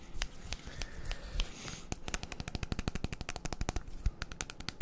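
A hand-sized, clear plastic baby bottle with a white nipple cap, hollow and mostly empty, is held in one hand and tapped with fingertips along its sides. A few scattered taps come first, then a fast run of sharp, dry clicks with a hollow thump and very short ring.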